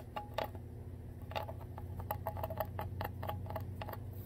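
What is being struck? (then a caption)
Ridged plastic water bottle bottom. Long nails tap and scratch the ridged clear plastic bottom of a full Core water bottle. The result is a quick run of crisp, clicky taps with a short ring near 640 Hz and bright edges, over a steady low hum. Each tap fades almost at once.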